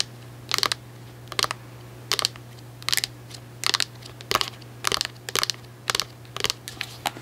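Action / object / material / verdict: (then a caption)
tap / plastic cosmetic jar / plastic / none. A white plastic Cantu cosmetic jar with an orange lid is held in the hands and tapped on its label side and lid with long acrylic nails. About nine short bursts of quick, bright, clicky taps come through over a steady low hum, each tap dying away almost at once.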